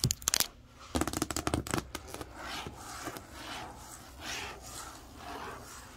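Long acrylic nails tap the printed screen area of a large, hollow printed cardboard TV box. Two quick bursts of sharp, bright clicking taps with a hollow low thump come first, then a softer, airy scratching texture rises and falls for the rest of the clip.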